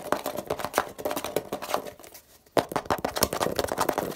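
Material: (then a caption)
Plastic. Fingertips tap and scratch the blue plastic cap and the label area of a hollow grey plastic Poliflor furniture polish bottle. The result is a rapid run of dry, clicky taps and scratchy rustles that die away almost instantly. The sound dips into a brief near-silence around two seconds, then resumes with a sharp tap and continues briskly.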